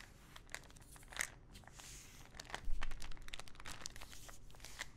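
Long nails tap and scratch a small clear plastic ibuprofen bottle full of pills, with a teal cap and a paper label. Soft, dry clicks and crinkly scratching sounds come in quick, irregular bursts, with brighter ticks over a quiet low rumble.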